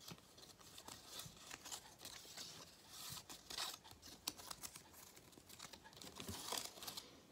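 A 2022 galette des rois crown, a strip of thin cardboard faced with gold foil and cut with holes, is held in both hands while fingertips tap, scratch and crinkle the foil surface. The result is soft, dense, bright crinkling and scratchy rustling, broken by quick short taps with almost no low end.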